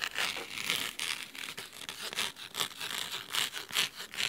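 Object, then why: Cloth-covered hardcover book. Fingernails scratch the cloth cover of a thick, navy fabric-bound hardcover book resting on a wooden table, then move to the spine edge. The result is a quick, loosely rhythmic series of crisp, bright, dry scratching strokes with almost no low end and very little ring after each stroke.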